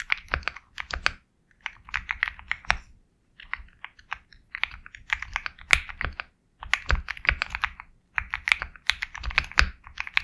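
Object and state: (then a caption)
Mechanical keyboard with plastic keycaps. A compact 65% Sugar65 mechanical keyboard with KTT Kang White switches, a black case and white and black plastic keycaps is typed on steadily with fingertips. Quick bursts of short, dry, bright clacks come with a soft low thud under each keystroke, separated by brief pauses. Each press dies away almost instantly.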